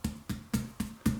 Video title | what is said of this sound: Quarantine Vlog #2 - Making music, bread and setting up a server | it sounds hollow which means that it should be okay